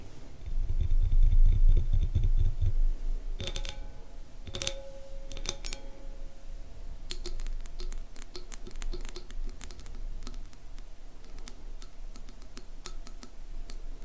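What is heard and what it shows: Long manicured nails tap and scratch the outer rim and sides of a medium clear glass bowl holding orange granular contents with white pieces around them. Sharp, bright clicks and scrapes come at a fairly steady quick pace over a low rumble that is loudest in the first few seconds.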